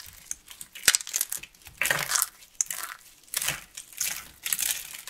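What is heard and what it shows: A solid, palm-sized lilac carved soap flower, dry and brittle, is crushed and broken apart with fingertips and medium-length painted nails. Dense bursts of bright crunching and crackling come in quick clusters, with sharp snaps between them. Other soap flowers sit untouched nearby on the table.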